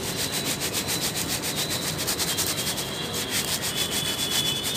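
Dry red soil is shaken with both hands in a yellow perforated plastic sieve basket, so the fine powder sifts out and the coarser crumbs and grit rattle on the plastic. The result is a steady, bright, hissing rustle that swells in loose pulses about three to four times a second, with little low-end weight.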